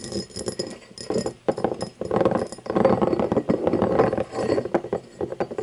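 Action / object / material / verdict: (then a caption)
tap / cut glass tumbler / glass / none. Long nails tap and scratch across the facets and base of an empty, hollow cut-crystal tumbler lying on its side. The result is a dense, uneven run of quick clicks and scrapes with short glassy rings centered around 523 Hz that fade almost immediately.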